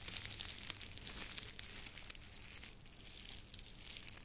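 A long tied bundle of dry grass or straw, held horizontally, has its dry stalks rubbed and crinkled by fingertips. The sound is a steady, bright, close crackling rustle with many dense little crunches and a faint low rumble underneath.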